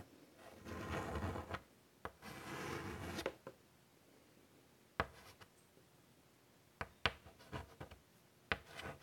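White chalk held in the fingers draws lines on a large flat chalkboard set in a wooden frame. Two longer, rough scratching strokes come first, followed by quieter stretches broken by several short, sharp chalk taps and brief strokes.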